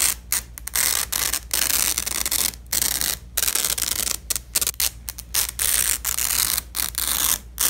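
Black-gloved hands peel apart the two halves of a long, thin, flexible purple nylon hook-and-loop strip lying on red fabric. The result is a series of bright, crackling ripping tears, broken up by short pauses, with almost no low end.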